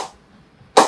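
An old cricket ball strikes an SM18 willow cricket bat in a ping test, giving one sharp, bright crack with a tonal ping near 780 Hz that dies away quickly. The tail of an earlier strike fades at the start. The bat has good ping, sounding well from the bottom, middle and top of the blade.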